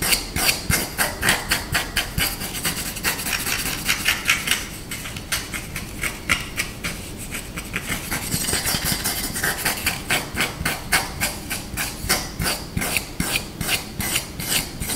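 Short nails scratch and tap fast across the face and handle of a flat, solid wooden rice paddle held in the hands. Bright, dry scratching mixes with a rapid run of crisp, short taps that barely ring.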